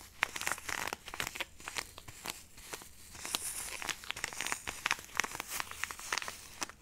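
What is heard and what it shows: A small, flat, printed plastic-foil sachet of instant snow powder, sealed and apparently filled with dry powder, is held upright in both hands and crinkled and rubbed with fingertips and long nails close to the microphone. The result is a quiet, steady stream of bright, dry crinkling, with many sharp crackles and rustling scrapes that stop instantly and have almost no low end.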